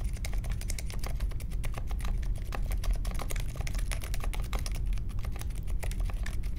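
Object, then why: Mechanical keyboard with plastic keycaps. Fingertips of both hands type steadily on a small 60% Polaris mechanical keyboard with a grey case, white, mint and pink plastic keycaps, and Silent Alpaca linear switches, resting on a marble desk. The sound is a continuous stream of soft, muted key thocks with a low, rounded thud, each stroke dying away almost at once, with only faint high clicks above.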